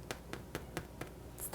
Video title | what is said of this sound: How to Bake Delicious No-Knead Multi-Grain Bread | you hear that tapping sound that's like hollow a little bit on top